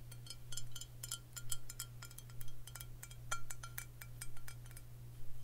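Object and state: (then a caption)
Glass whisky bottle. A Crown Royal Vanilla glass bottle filled with amber liquid is tapped repeatedly with long fingernails, producing quick, bright glassy clinks with a short ring. The taps come in loose clusters over a steady low hum.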